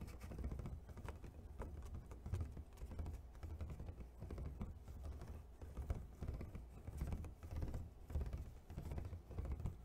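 An empty, hollow clear plastic clamshell food container is held in one hand while the other hand taps quickly across its lid with fingernails and fingertips. The result is a steady, dense patter of short, dull clicks with a low, hollow body and very little brightness, rising and falling in loose bursts throughout.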